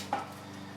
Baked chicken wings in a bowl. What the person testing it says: you hear how crispy they are